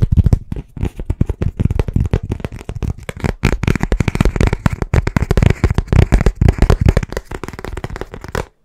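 A thin, flat, rigid black rectangular writing board with a lined surface, a small blackboard, is held in both hands and tapped and scratched fast with the fingertips and nails. The result is a dense, rapid stream of short, dry, low-pitched thuds with almost no ring, mixed with faint bright scratching, continuing nonstop until it cuts off just before the end.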